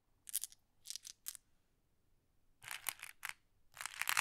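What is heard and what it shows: Small, solid, flat glass decorative pebbles in a wooden tray are sorted with fingertips and long nails, and green pebbles are collected in one hand. Quiet, bright, dry clicks come in short clustered bursts separated by near-silent pauses, with a denser run of clicking at the end.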